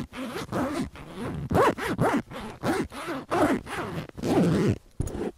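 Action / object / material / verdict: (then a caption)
scrape / faux leather duffel bag with zipper / faux leather / none. Fingertips and nails scratch a large, filled, soft-sided white faux leather duffel bag with metal rings and work its zipper back and forth. The result is a rhythmic series of raspy zipping strokes, each with a rising and falling whine, separated by brief pauses.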